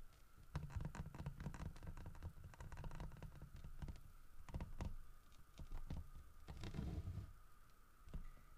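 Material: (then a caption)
Wood. Fingernails scratch and tap across the grooved carving of a large, solid carved wooden bear statue as it is turned. The result is a dense run of quick, dry clicks and scratchy strokes with short, muffled low thumps that die away almost instantly, over a faint steady tone.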